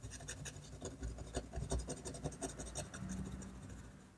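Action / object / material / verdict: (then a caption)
scrape / paper sheet under a technical pen / paper / none. A technical pen scratches dense, short strokes across a flat sheet of drawing paper held by the free hand. The result is a quick, irregular run of dry, bright scratches over a soft low rumble, fading slightly toward the end.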